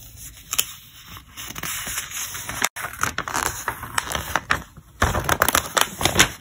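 Fingertips grip the page edges of a thick, glossy paper trade catalog lying open flat and turn its pages one after another. Each turn gives a crisp, bright crackling rustle with sharp, quickly fading snaps, with a brief silent gap partway through before the page turning resumes.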